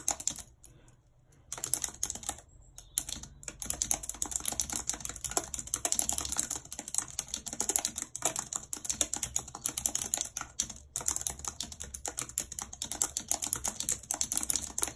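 A white low-profile plastic wireless keyboard with a full number pad and hollow housing, lying flat on a map-printed surface, is typed on rapidly with long red acrylic nails. A dense stream of bright, sharp clicks of the keys continues almost without pause, apart from a brief quiet gap near the start.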